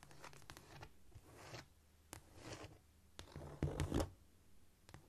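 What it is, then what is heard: Cork floor. Long almond-shaped acrylic nails and the fingertips of both hands tap and scratch across a flat, solid cork floor. The result is a mix of soft, scurrying scratches and sharp, bright clicks, with irregular bursts of tapping. A louder, low, thumping flurry comes near the end.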